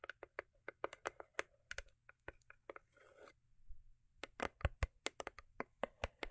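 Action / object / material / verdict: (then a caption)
tap / foil-covered cardboard gift box / cardboard / none. Long acrylic nails tap the top and sides of a small, rigid, hollow cardboard gift box covered in holographic foil paper, producing about 27 short, dry, hollow clicks with almost no ring. A brief soft rustle and scrape occurs mid-clip, and the box is lifted in the hand before the quick tapping resumes.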